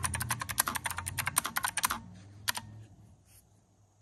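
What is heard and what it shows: Fingertips of both hands type rapidly on a pink and white plastic keyboard with round typewriter-style keycaps, set on a desk. Bright, crisp clicks patter quickly for about two seconds, then a couple of isolated clicks follow over a faint low hum. One last click sounds at the end.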